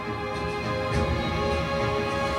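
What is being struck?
Nothing is struck.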